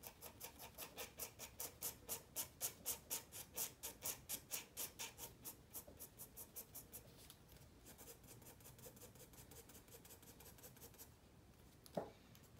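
A black-barrelled pencil makes quick shading strokes on a white spiral-bound paper sketchpad lying flat, producing a dense, bright scratching on the paper. For the first seven seconds the strokes come in a steady back-and-forth rhythm of about two per second, then they soften into a quieter, continuous scratch. A single sharp tap sounds near the end.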